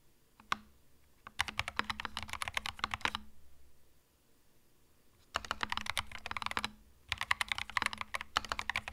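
A compact cream mechanical keyboard with plastic keycaps is typed on slowly with the fingertips. A single tap is followed by three runs of crisp, bright key clacks separated by quiet pauses. The keystrokes are short and dry, with a faint low hum underneath.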